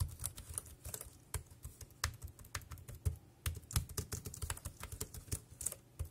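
Fingertips type steadily on a dark grey plastic compact wireless keyboard with round keys. Each keystroke is a short, dry click with a bright top and a low thump beneath, with no ring after it. The keystrokes come in quick, uneven runs with brief pauses between them.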